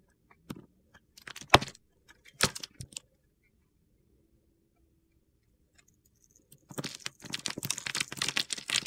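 A utility knife blade carves a solid green, grid-scored bar of soap held in the hand, breaking off small soap cubes. Sharp, crisp crunches and clicks come in scattered bursts, then a quiet pause, then a dense run of gritty scraping and crumbling to the end.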